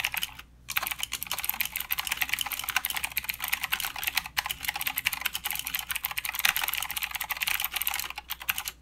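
Fingertips of both hands type continuously on a full-size mechanical keyboard with plastic keycaps and blue clicky switches. Dense, bright, sharp clicks run almost without a break, with a short pause near the start and brief gaps around the middle and end, and very little low end.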